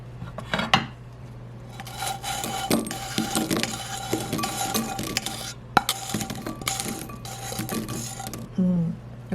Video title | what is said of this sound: Caramel bread popcorn & tips caramel anti-gagal - BASICKELI | You can hear how crispy it is